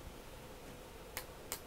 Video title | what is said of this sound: Haze Hour 20-06 - Get yer snickers off! | it's plastic you just need to tap it and it's plastic